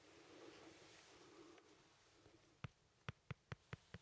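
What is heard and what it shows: A small, solid, whole fresh yellow lemon is held in one hand and scratched, then tapped, with the tip of a wooden pencil. Quiet, soft, broad scratching and rustling comes first, followed by six short, sharp taps in the last second and a half, each a dull low knock with a brief brighter click and almost no ring.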